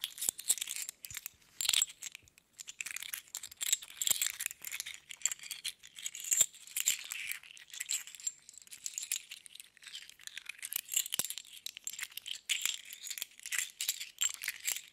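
A handful of small, hollow metal sewing thimbles is held in both cupped hands, shaken and jingled together with fingers and long nails. The result is a dense, continuous patter of bright, tinny clinks and rattles with almost no low end. Each tap dies away almost instantly, and the clatter swells and thins in uneven bursts throughout.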